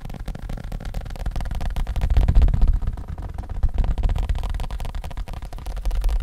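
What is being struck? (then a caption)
Folded leather wallet. A small black leather wallet, folded and held in the hand, is tapped quickly with fingertips and nails on its surface and edges. The result is a rapid, slightly uneven stream of soft, dull, low-pitched taps, about four per second, with almost no high-frequency content.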